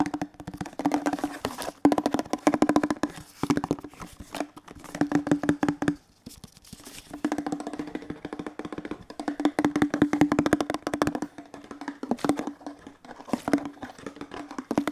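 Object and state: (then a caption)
Plastic detergent bottle. A large, hollow, teal plastic cleaning-product bottle with a label is held and turned in the hands while fingertips tap rapidly on its body. The taps come in quick, dry bursts with short pauses, each a short hollow knock with a steady low-mid tone around 290 Hz and almost no ring.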